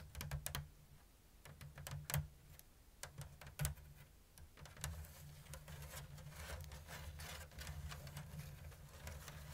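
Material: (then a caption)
Bamboo. Long blue nails tap and scratch a round, hollow basket woven from thin bamboo strips in an open diamond weave. Quiet, dry clicks come first, then give way to a steadier, bright scratching rasp across the weave. A low, constant hum runs underneath throughout.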